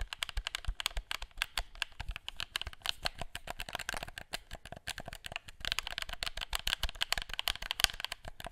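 A black hollow plastic gamepad held in both hands as fingertips click its buttons and tap its shell. The result is a rapid, uneven stream of sharp, bright clicks and light taps that stop dead with almost no ring, with a few brief pauses between flurries.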